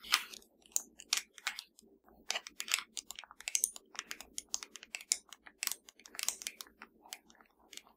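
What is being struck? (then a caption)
Plastic remote control. A slim, hollow, black plastic Fire TV remote lies flat and is tapped with the long dark nails of both hands. The result is a quiet, rapid, irregular patter of short, dry, bright clicks that stop instantly, with no ring after each tap.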